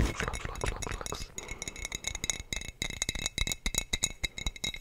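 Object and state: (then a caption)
Glass bottle tapped with fingernails. A hollow, clear glass sangria bottle with a teal screw cap and a colorful printed label is held in one hand and tapped rapidly with the fingertips and short nails of the other. The result is a steady stream of quick, dry clinks and ticks with a bright, high glassy ring over soft low thumps.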